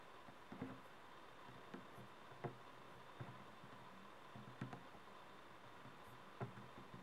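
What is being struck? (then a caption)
Plastic mushroom night-light shell. Fingertips and nails tap the sides of a small, hollow, glowing color-changing LED night light shaped like a mushroom, with a frosted translucent plastic shell held between both hands. Soft, dull plastic taps come at scattered intervals, each short and quickly fading, over a quiet steady background hiss.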